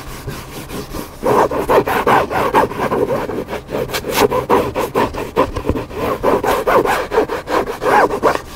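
Fingertips and nails scratch the cover of a flat hardcover cookbook with a black spine in repeated, somewhat uneven strokes. Each stroke is a dry, papery rasp centred in the mids, starting softly and growing louder after the first second. The scratching continues in a steady back-and-forth texture with little low rumble.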